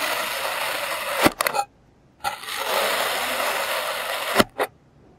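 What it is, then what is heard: Kinetic sand being cut. A clear plastic serrated knife cuts thin slices off a solid, palm-sized molded block of green kinetic sand. Two long, steady, grainy scraping hisses, bright and airy with almost no low end, are separated by a brief silence. Each stroke ends in a cluster of sharp crumbly clicks and ticks, five in all, as the slice breaks away.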